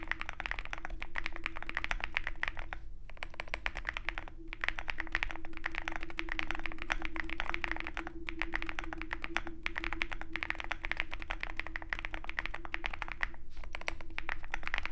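A Zoom65 compact 65% mechanical keyboard with a dark case and white MT3 BoW PBT keycaps, set beside a walnut wrist rest, is typed on continuously with the fingertips of both hands. Rapid, dense clacks with a bright peak around 2 kHz run throughout with only brief pauses, over a steady low hum.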